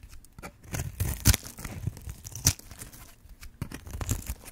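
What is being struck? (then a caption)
Bar of soap cut with a metal blade. A metal blade carves and scrapes cubes off one end of a green and white striped solid bar of dry soap held in hand. Short, dry crunching and scraping cuts come in an irregular series, each with a brief broadband crackle and a low thump, the loudest near the middle.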